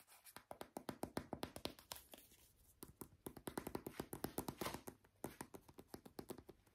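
A small brown plastic squeeze tube of hand cream, hollow and apparently filled, is tapped with short nails and fingertips while being turned in the hands. A rapid, uneven stream of short, dry taps mixes hollow plastic knocks with bright nail clicks, each dying away almost instantly. The taps thin out briefly near the middle before picking up again.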